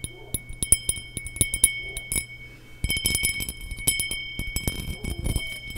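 A small, empty, hollow cut crystal glass tumbler with a faceted pattern is held in the hands near the microphone and tapped with long nails. Quick, sharp clicking taps come in irregular bursts, with bright, steady ringing tones around 2 to 3 kHz and higher over a faint low hum. The tapping grows busier and denser in the second half.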